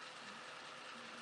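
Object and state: Nothing is struck.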